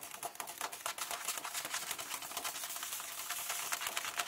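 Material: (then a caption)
Paper. Fingertips and long painted nails tap and rub flat hands across the text pages of an open hardcover book lying on a table. The result is a quick run of dry, crisp taps and papery scratching, bright and hissy with almost no low end, each tap dying away at once.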